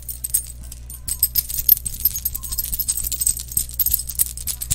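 A silver-colored metal chain necklace is dangled from the fingertips in front of a microphone and shaken, so its links jingle against each other. Bright, rapid metallic clinks and jangles repeat throughout over a steady low hum.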